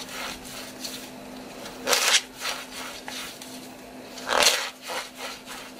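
Both hands squeeze and break a flat, hand-sized, pizza-slice-shaped piece of painted dry floral foam, with long dark-painted fingernails crumbling it into green foam bits over loose crumbs. Dry, bright crunching and crackling bursts come through, with two louder breaks standing out among a loose series of softer crumbling rubs.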